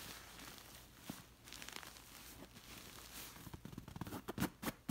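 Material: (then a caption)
Fabric. Long nails scratch the surface of a stuffed dark red pillow covered in waffle-textured woven chenille-like fabric. A soft, steady scratchy rustle runs throughout, broken by sharper crackling strokes that grow louder and more separate toward the end.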